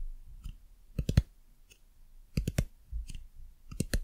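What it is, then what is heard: Hard plastic lamp base. Long nails tap and click on the hard plastic base and button on the underside of a white dumpling lamp. The result is short, dry, irregular clicks, some in quick bursts of three, with almost no ring between them.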